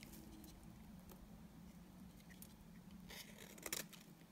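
A utility knife blade shaves the face of a solid, dry beige bar of soap, making soft, scattered scraping ticks over a quiet, steady low hum. Near the end, a few brighter, crisper scrapes stand out briefly before the sound settles back down.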